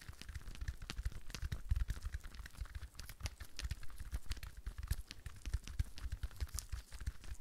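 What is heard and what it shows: A rhinestone-covered decorative ball, held in both hands, is tapped and scratched fast with long fingernails. Dense, rapid clicks and bright crackling scratches ride over soft low thumps throughout, each hit dying away almost instantly.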